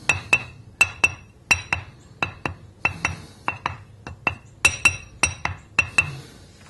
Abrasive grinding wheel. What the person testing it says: notice how dead the sound is there's no ring to it